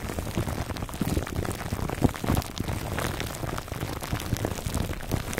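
Fingertips scratch the clear plastic film wrapped around a foam microphone cover near its top. The result is a dense, steady crinkling and crackling of many tiny, quick-dying ticks, heavy in the low range, with a few louder crackles around the middle.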